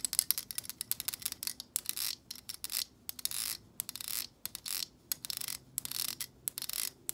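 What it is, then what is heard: Plastic hair brush bristles strummed. Long acrylic nails strum and scratch through the long plastic bristles of a black plastic hair brush. Quick, bright, crisp flicks alternate with longer hissy scraping swishes, all quiet and high-pitched with almost no low end.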